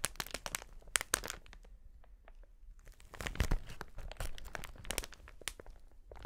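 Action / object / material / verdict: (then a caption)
scrape / plastic air cushion packaging sheet / plastic / none. A wide, clear plastic air-cushion packaging sheet with air-filled chambers is held up in front of the body with both hands, then gripped and flexed. It gives off a run of sharp, bright crinkles and crackles with dull low rustling beneath. After a quieter stretch in the middle, a denser burst of crinkling follows.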